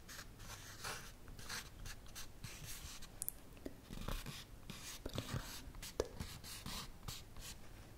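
Fingertips and nails tap and scratch the front of a full, flat plant-based burger pack, a plastic tray in a printed cardboard sleeve. Soft, dry scratching strokes come in bright hissy bursts, broken by a few short, sharp taps that die away almost at once. A steady low rumble sits underneath the whole time.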